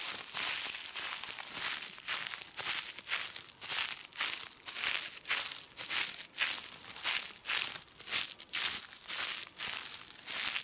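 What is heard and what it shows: A hand bunches a fold of a large, thin, translucent polyethylene plastic bag spread on a striped cloth, crumpling the soft, empty film between fingers and thumb. The result is a steady stream of bright, crisp crinkling and crackling in repeated bursts of about one per second, almost entirely high-pitched with no low rumble.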